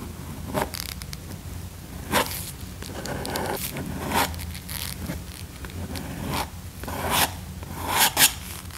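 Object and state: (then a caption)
Leather car seat. A hand in a black nitrile glove scrapes a small pale flat tool across the cracked, worn side bolster of a large, padded black leather car seat. Short, bright, rasping strokes repeat over a steady low hum, with a few sharper scrapes standing out.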